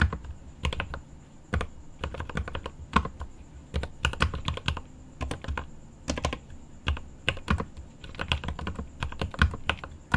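Fingertips type on the plastic keycaps of a mechanical keyboard with an aluminum case, producing rapid, irregular bursts of crisp clicks with a deep, thocky low body. Each keystroke dies away almost instantly, and a faint steady high-pitched tone runs beneath the typing throughout.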